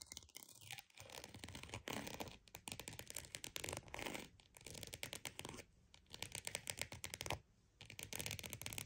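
A croc-embossed purse is tapped and scratched with quick, dense strokes that make a bright, rasping texture over a soft low rustle. The scratching comes in bursts separated by brief quiet gaps. Each tap dies away almost at once.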